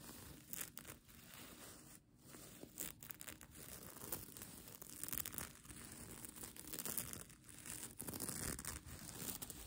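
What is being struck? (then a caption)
Plastic sequin blanket. Long nails scratch and tap across a bunched-up plastic sequin mermaid-tail blanket. The result is a dense, uneven stream of bright crinkling, rustling and tearing-like scrapes, with soft taps scattered throughout and no clear pauses.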